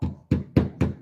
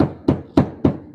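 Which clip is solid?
The second.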